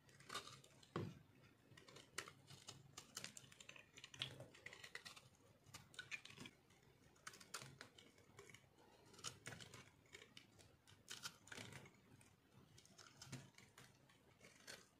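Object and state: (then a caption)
Dry soap bar being cut. A solid, dry pink heart-shaped soap held in the hand is shaved and cut with a metal blade. The result is a rapid run of dry, crisp crunching and scraping ticks, bright and short, with a few louder snaps.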